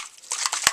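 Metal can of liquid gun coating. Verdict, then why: Separated. A can of Duracoat epoxy gun coating in Magpul Flat Dark Earth, whose contents have visibly separated, is shaken to mix it; it needs three minutes of shaking. About four bright, sharp rattling clicks are heard, mostly high-pitched with no low end, after a quiet start.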